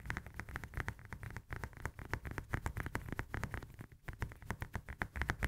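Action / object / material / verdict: tap / whole lemon, fruit peel / citrus peel / none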